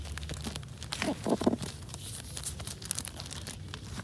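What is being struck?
Hardcover book with clear plastic dust-jacket cover.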